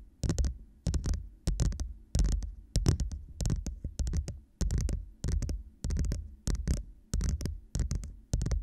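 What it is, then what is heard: Plastic cup tapped with nails. A glossy blue hollow plastic cup, held upside down, is tapped with long nails on its sides and base. Quick clusters of short, clicky taps repeat about every half-second, each with a hollow, low thump underneath.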